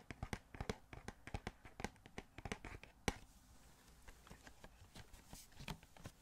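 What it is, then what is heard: Cardboard toy box with plastic window. Fingertips tap on a small, hollow cardboard Funko Pop box with a plastic window and a figure inside. About twenty quick, irregular taps sound as dull, hollow knocks with light clicky edges, and one sharper, louder tap lands around the middle. The tapping grows softer and lighter in the second half.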